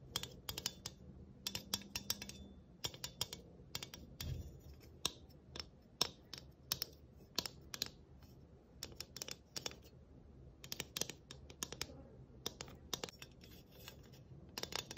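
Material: Tin.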